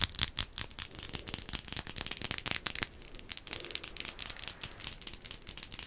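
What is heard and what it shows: A small, hollow, glossy black-and-white striped ceramic pumpkin decoration, held in the hands, is tapped with long acrylic nails. Rapid, dense, bright clicking taps rattle on with almost no low end and barely any ring after each hit, with a brief lull near the middle.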